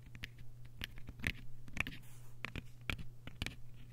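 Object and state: Hardcover paper book.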